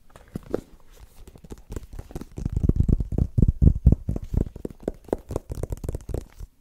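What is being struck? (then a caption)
Small rigid cardboard box. A small, white, rigid cardboard iPhone box, apparently closed and held in both hands, is tapped and scratched with fingertips and short nails. Quick, irregular taps make dull, low thuds with no ring, mixed with soft scratching, growing louder in the middle and easing toward the end.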